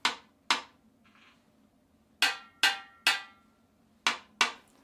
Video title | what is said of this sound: A look inside a central heating expansion vessel | it was full with water